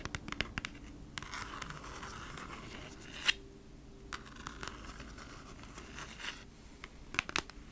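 Long nails scratch across the printed front of a thin, flat, hand-sized cardboard Bee's Wrap package, making a dry, bright scraping hiss in several strokes. Sharp little clicks and ticks break through, with the loudest near the middle and a quick cluster near the end.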